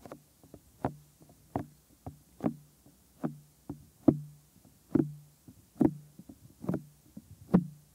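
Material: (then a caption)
Silicone. Fingertips tap and press on the lobe and near the canal of a white silicone ear mold on a 3Dio binaural microphone. The result is a series of soft, dull, low thumps with a quick decay and almost no high content. They arrive at an irregular pace, with faint rubbing in between.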